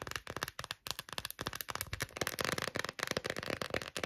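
Long nails rapidly tap and scratch the raised quilted back of an empty, hollow, hand-sized pink glossy silicone phone case. The result is a fast, dense stream of dry, crackly clicks and scrapes with a bright edge and almost no ring between strokes.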